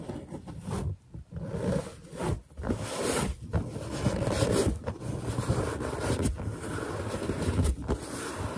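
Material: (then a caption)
Latex. Fingertips and long nails gently rub and tap the surface of a large, hollow, inflated white latex balloon with a character drawn on it. The result is a steady, low, rumbling friction with squeaky, scraping textures, broken by a few brief quiet gaps.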